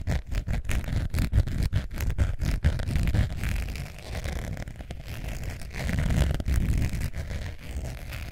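Long nails scratch the face and edge of a long beige textured faux leather zip wallet with a metal zipper, held in both hands. The result is a steady run of dense, irregular, low, rumbling scratches with quick rasping strokes and almost no bright content.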